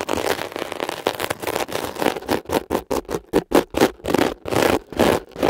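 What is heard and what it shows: A thin metal ear pick scratches and scrapes across the glittery woven mesh cover of a blue foam scrubber sponge while fingertips hold the sponge steady. At first the scraping is a dense, continuous crackling rasp, then it breaks into quick, separate, bright scratchy strokes in an uneven rhythm.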